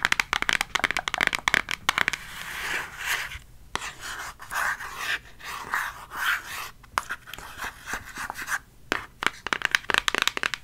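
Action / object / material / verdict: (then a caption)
scrape / cardboard eyeshadow palette / cardboard / none. A flat, thin, hollow pink ColourPop eyeshadow palette with a cardboard case is held in both hands and tapped and scratched with long acrylic fake nails. Quick, bright nail taps click in rapid bursts at the start and end, with softer, hissy scratching strokes across the cardboard in between.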